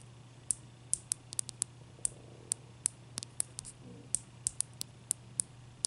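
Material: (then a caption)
Ice. Long nail tips tap on a large, clear, solid ice cube resting on a towel, making nineteen sharp, bright clicks at an uneven pace. Each click is very short and dies away almost at once, over a quiet, steady low hum.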